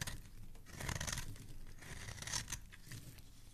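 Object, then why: Solid soap bar cut with a metal blade. A metal utility blade repeatedly shaves thin strips off the face of a palm-sized, solid green oval soap bar held in one hand. The strokes make crisp, bright scraping and crinkly tearing sounds in close, overlapping bursts over a soft low rumble.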